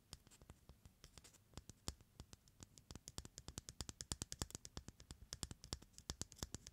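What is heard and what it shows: Fingertips and nails tap and scratch the shell of a single whole white raw hen egg held in the palm. About 46 quick, dry clicks ring out over a faint scratchy bed, each one short and bright with a soft low thump underneath. The taps grow denser and slightly louder toward the middle and end.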